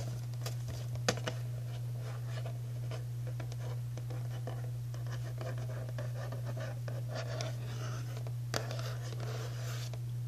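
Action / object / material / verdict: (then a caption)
scrape / printed cardboard cookie box / cardboard / none. A hollow printed-cardboard Archway Dutch Cocoa cookie box, held in hand, is tapped and scratched across its front panel with long natural nails and fingertips. The result is a soft, steady scratching texture with light taps over a constant low hum, with a couple of sharper taps standing out.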